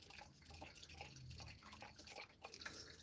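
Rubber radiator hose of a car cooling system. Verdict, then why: Not empty. Squeezing the lower radiator hose of a 2006 Matrix engine's cooling system makes soft, wet sloshing and gurgling sounds with faint low rumble underneath. The sloshing shows there is still coolant in the system, so it is not empty.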